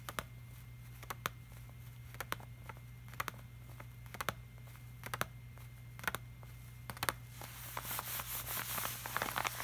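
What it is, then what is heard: Glossy laminated poster. Fingertips tap and rub the surface of a flat, glossy laminated art print, the hand wearing a silver bracelet. Sharp, bright clicking taps come in small clusters over a steady low hum. Near the end they give way to a louder, hissy rubbing.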